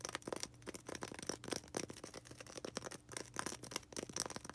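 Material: Polystyrene foam.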